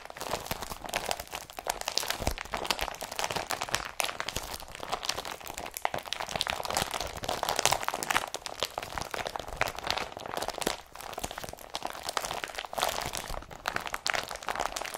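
An empty blue IKEA BRATTBY woven polypropylene carrier bag is bunched up and crumpled in the hands. Dense, continuous crinkling and crunching rustles fill the whole clip with bright, papery texture and almost no low end. Each crackle dies away almost instantly, with brief dips in between.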